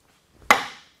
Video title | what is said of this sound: There's Something Inside This Giant LOG, Let's Cut It Open... | that's what perfect sound sounds like on the end grain there